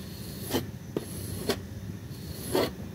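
A blue plastic disposable razor held in the hand scrapes across a small, flat, butterfly-shaped pink woven textile rug, dry and clean, resting on a white surface. Four short, raspy scraping strokes stand out over a low, steady background rustle, each with a bright, hissy edge.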